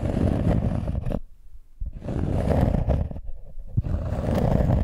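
Long nails scratch and tap the inner surface of a round cork coaster with a raised rim, resting flat on a microphone. The result is a dense, muffled, low rumbling scrape with rapid irregular taps, broken by two brief quieter pauses.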